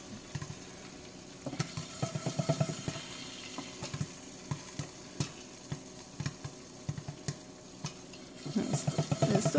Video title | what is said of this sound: Stove Top Pop Corn 🌽 | you can hear that loose stuff on the bottom. A bit of loose stuff there.